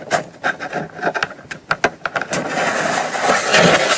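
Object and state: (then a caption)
Cardboard box. Long nails tap and scratch the lid of a small brown kraft cardboard gift box lying flat. An irregular run of crisp, papery taps gives way to a steady, bright scratching rasp across the surface.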